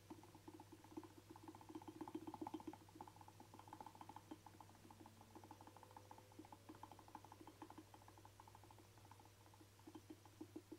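A hand-sized, hollow black rubber camera dust blower bulb with ribbed sides is tapped and drummed with short fingernails and fingertips. The result is a quiet, fast, uneven patter of soft, dull, hollow taps with short decays over a steady low hum.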